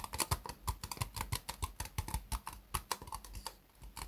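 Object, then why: Upside-down disposable plastic cup. Fingertips and nails tap quickly around an empty, hollow white disposable plastic cup turned upside down. It makes a rapid, uneven patter of short, dry clicks, each with a bright tick over a soft low thump. The taps stop almost instantly with no ring.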